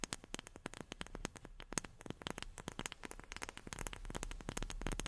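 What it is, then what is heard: Wooden object tapped with fingernails. A wooden object is tapped rapidly with long fingernails, giving a quick run of about thirty short, dry clicks with no ring. A faint, steady low-frequency noise runs underneath.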